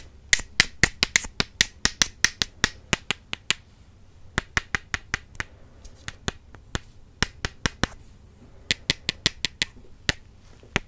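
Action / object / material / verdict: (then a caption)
tap / wooden makeup brush handles / wood / none. Two wooden makeup brush handles are tapped together as an ASMR trigger, giving about 37 sharp, dry, bright clicks. The clicks fall in quick runs separated by short pauses, and each one dies away almost instantly.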